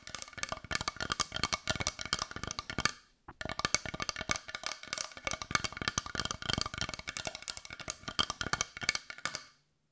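A palm-sized brown carved wooden heart that looks solid, held in both hands, is tapped rapidly with long white nails. The result is a dense run of short, dry, bright clicks with almost no ring, centered around 1.2 kHz, with a brief pause just after three seconds before the tapping resumes and then stops.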